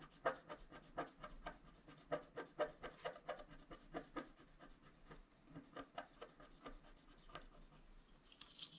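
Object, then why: Black-coated scratch-art card scratched with a wooden stylus. A wooden stylus scratches a flat, black-coated scratch-art card lying on a table in short strokes. The result is a quick, uneven run of dry, brief scraping rasps with a faint mid-pitched edge, each stroke dying away almost at once.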